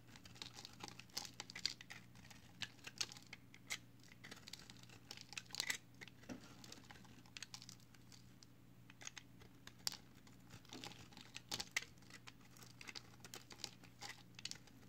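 An orange box cutter blade carves and scrapes the edge of a solid pale green recycled soap bar held in the hand, sending soap flakes falling. Quiet, crisp, crinkly scraping and flaking is broken by sharp, bright crackles and clicks scattered throughout, over a faint steady low hum.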